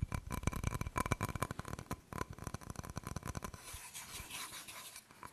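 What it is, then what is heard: Ceramic decorative plate. Fingernails scratch and tap the glazed front of a small round floral ceramic decorative wall plate with a purple ribbon hanger, making a fast, uneven run of dry clicks and scrapes. About three and a half seconds in, the plate is turned over to its back, and the sound becomes a softer, quieter, airy rubbing.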